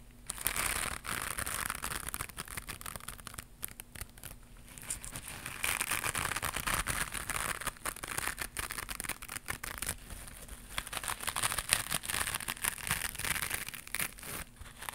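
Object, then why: Knitted mesh scrubber pad. Long pink nails scratch a small white knitted mesh scrubber pad held in one hand, making a dense, bright, crinkly rasp. The scratching swells and eases in waves of rapid, crackling strokes, with a faint steady hum underneath.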